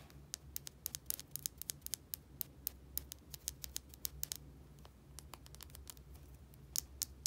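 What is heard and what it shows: A small plastic bottle with a white cap is tapped and scratched with long nails, giving a rapid series of around thirty sharp, bright clicks with a soft scratchy texture between them. The taps die away instantly over a faint, steady low hum.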